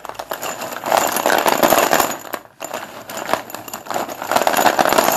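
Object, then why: Chalk sticks in a plastic bowl. Both hands grab and stir a pile of solid white Sundeep dustless chalk sticks in a blue plastic bowl, making them knock and rattle together. The dense, dry clattering sits in the mid range with no low end and has a brief pause near the middle before the rattling resumes just as strongly.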